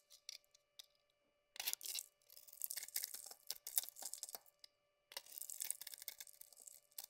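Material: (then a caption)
Soap. A solid, hand-sized oval lilac bar soap is held in one hand while a utility knife blade scrapes and shaves its surface, peeling off curls and flakes. After a few faint early ticks, long stretches of bright, crisp scraping and crackling come and go, with a quiet pause before a final run of shaving. The sound is soft overall and almost entirely high-pitched, with nothing in the low end.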